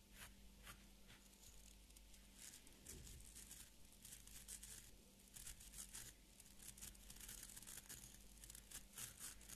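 Fingernails scratch and flick along the tips of a small beard brush's stiff fibre bristles while the orange wooden-backed brush is held in both hands. A quiet, steady run of dry, crackly scratching and bright tearing, crinkling flicks continues throughout, over a faint low hum.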